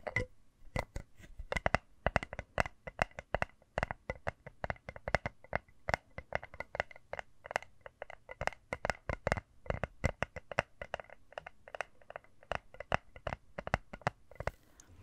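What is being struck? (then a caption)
Small hammered metal compact. A small, round, copper-colored compact with a hammered metal surface is held close to the microphone and tapped and scratched with long nails. A rapid, steady stream of sharp, clicky taps, each dying away almost instantly, mixes with soft scratching between them.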